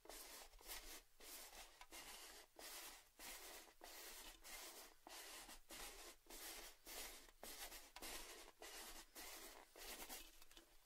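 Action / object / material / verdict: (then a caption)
scrape / cylindrical metal tin with lid / metal / none. A tall orange cylindrical metal Baileys tin with a lid is held tilted and rubbed and tapped with fingertips and nails. About 17 soft, bright, scratchy strokes follow one another in a loose, quiet rhythm, each fading quickly with a faint metallic body.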